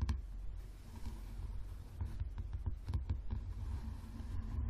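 Fingertips and nails tap rapidly on the cover of a yellow softcover paperback book lying flat. The taps are short, dull and muffled, mostly low in tone, and sit over a steady low hum.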